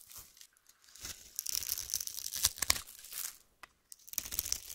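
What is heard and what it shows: A utility-knife blade cuts a grid into a solid, translucent yellow oval soap bar held in the hand and scrapes small cubes off its surface. The result is a quiet, bright, crisp crackling and scraping with brief crunchy bursts and short pauses between strokes.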